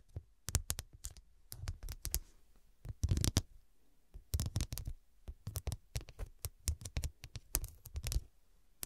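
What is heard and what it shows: Long acrylic nails tap and scratch rapidly over a small cushion covered with rows of square glass studs. Quick bursts of sharp, bright clicks sit over a soft low thud and die away almost instantly. Brief gritty scratching passages fill the short pauses between clusters of taps.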